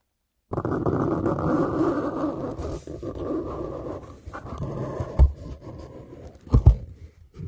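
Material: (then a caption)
Cardboard. A small knife tip scrapes and cuts along the brown paper tape on the top edge of a hollow, white corrugated cardboard shipping box. A steady, low, rasping scrape runs for several seconds, then eases into softer, uneven scratching punctuated by two sharper, louder knocks near the end.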